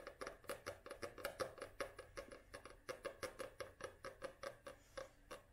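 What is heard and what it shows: Long nails tap and scratch quickly across the glossy printed cover of a small paperback book held upright, making a quiet, uneven run of short, dry clicks. Each tap has a hollow, papery knock around 535 Hz and a bright tick, with faint scratchy hiss between taps.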